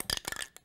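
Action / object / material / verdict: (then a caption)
shake / metal aerosol spray can with mixing ball / metal / none. A can of Krylon UV clear acrylic coating spray is shaken, and the mixing ball inside rattles against the can. The result is a quick run of bright, high-pitched, glassy clinks that die away almost instantly.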